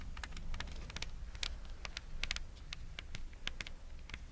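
Long red nails scratch the coiled, braided jute rope soles of a pair of espadrilles held together. The result is a quick, irregular run of short, dry, bright scratching ticks over a steady low rumble.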